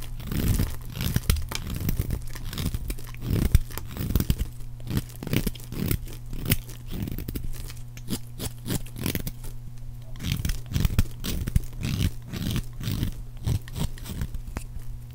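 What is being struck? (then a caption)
Bar of soap. A metal blade repeatedly scrapes and shaves a solid rectangular bar of dry pink soap held in one hand, peeling off soap curls that fall onto a pile. Each stroke gives a short, dry, crunchy tearing scrape, heavy in the low end, over a steady low hum. The strokes come in a quick, uneven run across the whole clip.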